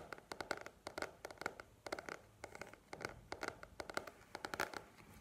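A paperback book with a glossy paper cover, held upright, is tapped and scratched with long nails. Rapid clusters of crisp, dry taps mix with short scratching strokes, each one dying away almost instantly.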